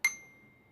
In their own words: mas eu batendo no tubo curto nós temos um som agudo